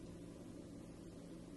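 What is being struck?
Nothing is struck.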